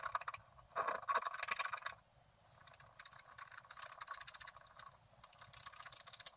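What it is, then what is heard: Scratch art paper being scratched. A wooden stylus scratches details on a figure in a thin, flat scratch art paper sheet. A loud burst of bright, dry scratching comes first, then a quieter run of quick, uneven scratch strokes with a papery rasp.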